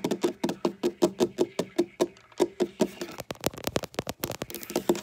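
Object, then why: Wooden tabletop. Long black fingernails tap, click and knock on a large, solid dark wooden tabletop, using both fingertips and nail tips. A steady run of short, dull knocks with a mid-low woody tone gives way to quicker, brighter, scattered clicks. Each hit dies away almost at once.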